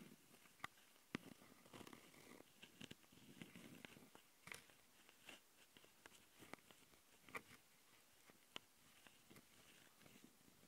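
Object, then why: Plastic handheld audio recorder with metal-mesh mic grilles. Long nails on both hands scratch the metal-mesh X/Y mic capsules of a small plastic handheld Tascam audio recorder. Soft, dry rasping swells are broken by sharp, bright clicks and ticks, all cut off dead with no ring, at a quiet, close level.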